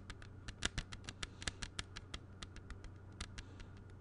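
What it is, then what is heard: Plastic CD jewel case. A closed, clear plastic CD jewel case is held flat and tapped with the fingertips, giving about twenty quick, light, clicky taps in an uneven patter. Each tap is bright and dies almost instantly over a quiet, steady low hum.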